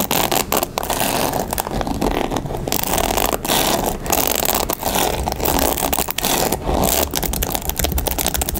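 A mint-colored plastic paddle hairbrush with a black rubber pad and bristles is held in the hand while long nails scratch quickly across the bristles and tap on the frame. The result is a steady, dense stream of bright, crackly scraping with rapid clicking taps mixed in.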